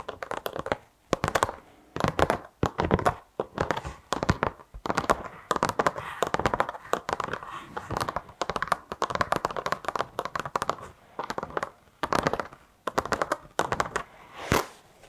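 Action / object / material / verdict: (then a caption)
scrape / carpet car floor mat / carpet / none. A flexible black carpet car floor mat, bent and held in both hands, is tapped and scratched with long acrylic nails. Bursts of quick, dry taps alternate with denser stretches of rough, bristly scratching centered in the low mids, with only a faint low end. Each tap stops instantly with no ring.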